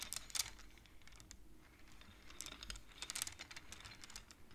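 Fingertips and long nails on both hands tap and push the colored wooden beads of a wooden abacus. The result is quiet, quick, bright clicks and clacks in irregular clusters, each dying away almost instantly over a faint low rumble.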